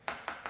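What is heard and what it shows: Three quick, sharp taps on the crust of a freshly baked margherita flatbread pizza, each a bright, crisp click that fades fast. The dry sound shows the crust is baked crisp.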